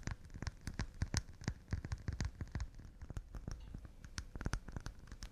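Fast, delicate tapping on pine wood cups, about 22 quick taps in an uneven rhythm. Each tap is short and dry with a dull low thump and a faint bright click on top, and it dies away almost instantly.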